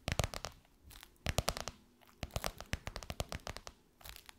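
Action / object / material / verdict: tap / faux leather pillowcase over a soft pillow / faux leather / none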